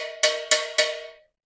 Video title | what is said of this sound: PRÓ-SAL PREPAROU MEGA PROMOÇÃO PARA VOCÊ QUE DESEJA TRABALHA NO OFFSHORE | a gente diferencia ele através do som um som de sino